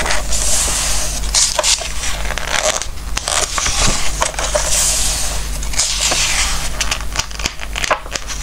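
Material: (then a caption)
Glossy paper. Fingertips rub and stroke across the glossy pages of an open glossy-paper book and turn them, giving a steady bright, papery swishing and crackling. Sharper crinkly rustles stand out over a low, constant hum underneath.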